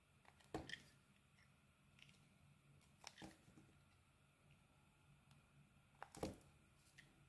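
A metal utility-knife blade shaves and scrapes thin curls off the surface and edge of a plain cream-white, solid, hand-sized oval bar of soap held in one hand. Short, crisp, crunchy scraping strokes with bright edges stand out against quiet pauses between cuts.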